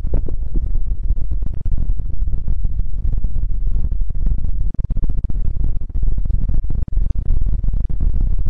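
Both hands tap and scratch the fabric face of a soft, stuffed, square cartoon-print throw pillow with fingertips and nails, close in front of the mic. The result is a dense, continuous stream of muffled low thumps and soft rustling scratches, with nearly all the energy deep in the bass and only brief dips in loudness.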